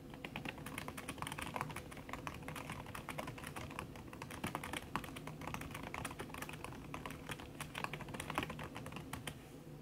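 Fingertips with long red nails type fast on a backlit aluminium laptop keyboard whose plastic keys sit under a red silicone skin. The result is a steady stream of soft, muffled key taps with a low thud under each press and some brighter clicks. The taps are dense and quick, and each one dies away almost instantly.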